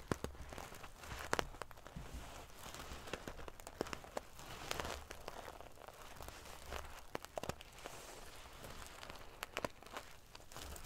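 Fingernails scratch and ruffle the metal pieces on a silver metal paillette (sequin-covered) pillow. The result is a steady, crackly rustle of scraping and clinking, with frequent sharp metallic ticks and prickly high flutters over a faint low rumble.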